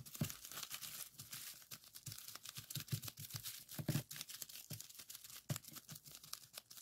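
Several fingertips rapidly press and pop the bubbles on a folded strip of clear plastic bubble wrap resting on a table. A dense run of sharp, bright snaps and crinkling crackles is heard, with soft low thumps under the louder pops, each dying away almost instantly.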